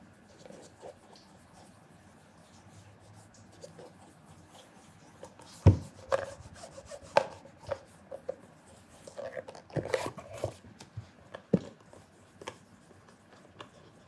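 A red cloth wrapped over the fingers rubs the polished surface of a hollow black leather loafer held in one hand. Soft, low, dry rubbing and brushing runs throughout, broken by a series of sharper, short knocks and scuffs that stand out above it.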